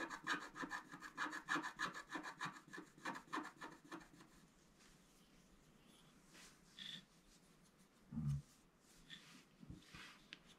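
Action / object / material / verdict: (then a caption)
scrape / scratch-art paper card scraped with a wooden stylus / coated paper / none. Bright, rapid scratching strokes as a wooden stylus scrapes across a scratch-art card that is pressed down by one hand. The strokes come in a quick, uneven rhythm for about four seconds, then fade to near silence, broken only by a few faint scrapes and soft low bumps.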